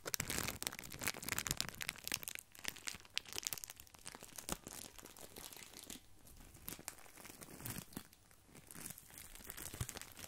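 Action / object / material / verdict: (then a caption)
scrape / breadsticks in thin plastic wrap / plastic film / none. A small, flat bundle of wavy grissini in thin clear plastic wrap is held close to the mic and rubbed and scratched with the fingertips. The result is a dense, bright crinkling and crackling that is quiet and close, easing off somewhat in the middle before picking up again.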